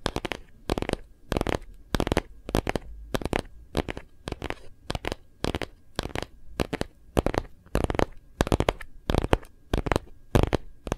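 A phone in a hard plastic Kate Spade case is gripped in both hands while fingertips and nails tap rapidly on its back. The taps come as quick bursts of dry, short clicks with a soft low thump and a bright edge, separated by brief pauses.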